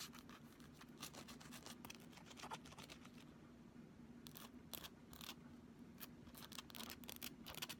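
Long fingernails scratch and tap along the edge and face of a thin, solid, pink flexible plastic ruler held vertically. The result is a quiet stream of quick, dry, bright scratching and clicking bursts that die away almost instantly, over a faint steady low hum, with a brief calmer stretch in the middle.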